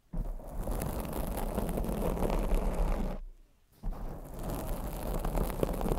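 Long blue acrylic nails scratch and tap a black foam microphone windscreen, producing a dense, crackly rustling scrape with a strong low rumble. The sound drops out briefly near the middle, then resumes with the same scratchy texture.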